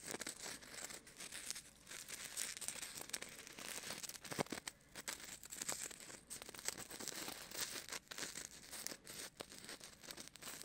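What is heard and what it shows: A small, solid white styrofoam ball about the size of a golf ball is held in the right hand beside a binaural microphone while fingertips rub and scratch it. The result is a quiet, continuous, bright crinkly scratching with squeaky, tearing-like bursts that rise and fall across the clip.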